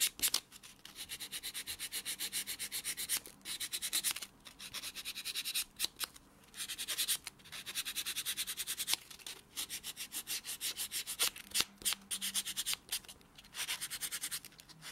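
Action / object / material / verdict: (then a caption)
scrape / foam nail buffer block on natural fingernail / foam / none. A small, solid white rectangular foam nail buffer block, held in the fingertips, is rubbed quickly back and forth over the natural fingernails of the other hand, first the fingers and then the thumb, while that hand lies on a dark textured surface. The buffing makes a bright, dry, hissing rasp in fast rhythmic strokes, grouped in bursts separated by brief pauses.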